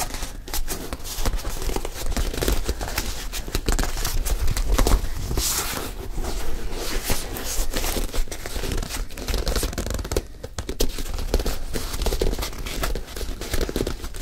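A single white leather high-top sneaker, hollow and empty, is handled while fingers rub its laces and scratch at the heel and the side of the leather upper. The result is a steady, dense stream of close scratching, crinkling and rubbing over a heavy low rumble, with brief dry taps throughout.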